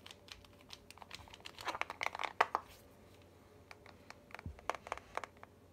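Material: Glass.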